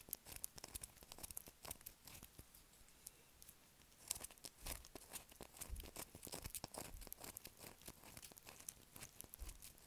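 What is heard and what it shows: Long acrylic nails scratch across a solid blue bar of soap with a grooved surface, held in the hand. Quiet, rapid, dry crackling scratches and crisp ticks come in bursts, bright and crinkly like tearing paper, with a brief lull just before the middle.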